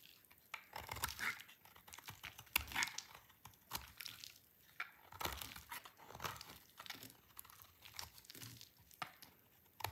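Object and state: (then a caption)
Dry soap bar being scraped. A solid orange bar of dry soap, held in the hand, is scraped and cut with a utility knife, with flakes falling onto a white wooden surface. Quiet, bright, dry crunching and crinkly scraping come in short, irregular bursts, with brief pauses between strokes.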